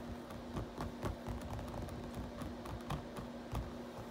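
Fingertips type on a black plastic RGB backlit computer keyboard, then the hands rest lightly on the keys. Soft, dull, low-heavy key taps keep coming over a steady low hum, with little brightness.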